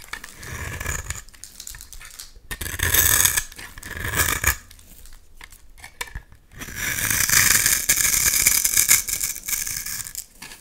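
A utility knife blade scrapes crumbly layers off a solid, hand-sized, rectangular, translucent purple bar of soap. The result is bright, crisp scraping and crackling in several bursts of different lengths, separated by quieter pauses, with the longest pass near the end.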